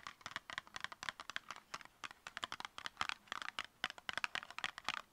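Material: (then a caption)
Cardboard. A tall, narrow, copper-colored cardboard cosmetic box, about 10 cm and hollow, is held in both hands and tapped and scratched with long painted nails. Rapid, dry, clicky taps mix with bright scratching, with almost no low end and no ring after each hit.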